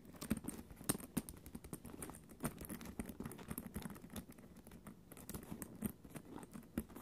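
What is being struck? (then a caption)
Quilted faux leather backpack. Long orange acrylic nails tap and scratch the quilted surface and zipper area of a small black quilted faux leather (vinyl) mini backpack with a cat-face front panel, its hollow, soft body resting on the floor. The result is a quiet, dense patter of short, dry clicks and soft scratches. Some sharper taps stand out above a low, muffled body.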